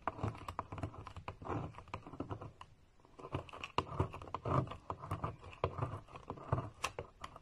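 A metal knife blade repeatedly cuts and scrapes thin, crisp flakes off the scored top of a solid, palm-sized green bar of soap with an embossed logo, held by a hand with painted nails over a white surface. The result is a quick run of dry, crackly clicks and short scrapes, each with a soft low thud, and a brief lull near the three-second mark.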